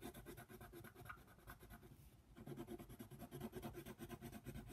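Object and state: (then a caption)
Colored pencil shading on paper. A yellow colored pencil scratches and rubs across a flat paper coloring book page in quick shading strokes, coloring a giraffe. The steady, low, raspy scratching pauses briefly near the middle, then resumes.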